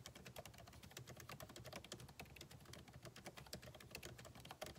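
Both hands' fingertips type rapidly on a backlit MacBook Pro keyboard with plastic keycaps in a solid aluminum body resting on a desk. A dense, continuous stream of short, crisp key clicks with bright ticks and a soft low thump under each press.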